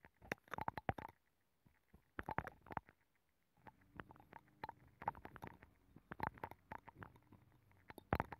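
A black makeup brush rubs the inner nacre surface of a hollow abalone shell mounted on a microphone. Clusters of quick, soft, scratchy brushing strokes come in bursts with short pauses between them, over a faint low hum through the middle of the clip.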